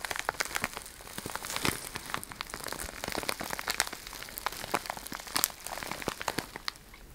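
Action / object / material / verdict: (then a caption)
scrape / plastic bag filled with cellophane shred / plastic / none. A clear plastic bag full of cellophane shred is held close and crinkled and scratched with long red nails. It gives a dense, bright crinkling with many sharp crackles and ticks, steady throughout, with almost no low end.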